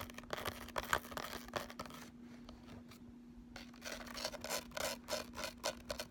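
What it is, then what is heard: Ridged makeup palette case scratched. Fingernails of both hands rapidly scratch the embossed, ridged lid of a thin, hollow eyeshadow palette lying flat, then scratch along its ridged edge. The result is a run of dry, bright, raspy scratching bursts with a quieter stretch in the middle, all over a faint steady low hum.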